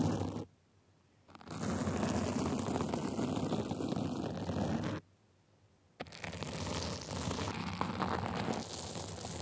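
A gold sequin fabric sleeve is scratched on its top and sides with two small white plastic tools. The result is dense, gritty, crackling scratching that stops briefly twice before starting up again with a sharp onset.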